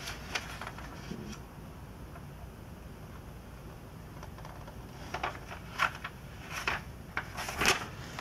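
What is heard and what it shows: Glossy pages of the last 2002 issue of a Sports Illustrated magazine with vintage ads are bent and turned by hand, with only fingers touching the thin paper. A soft steady hiss opens the clip, then sharp, bright crinkles and rustles come in irregular bursts, growing busier and louder in the second half.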